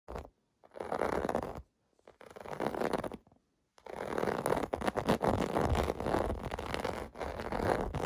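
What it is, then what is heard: Plastic bubble bath mat. Fingertips and nails scratch across the raised round bubble domes of a large, flat, clear blue plastic (vinyl) bath mat lying on carpet. Short bursts of dry, rustling scratching are separated by brief silences, then a longer stretch of continuous, busy scraping follows. The sound is mostly mid-range, with little bright high end.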